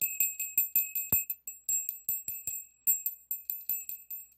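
A small hollow brass bell with an internal clapper hangs from a yellow pipe cleaner and is shaken repeatedly by fingers, while a second bell stays untouched. It gives about twenty-one quick, bright, high tinkling rings at an uneven pace, each fading fast, with one louder jingle near the middle carrying a soft low knock.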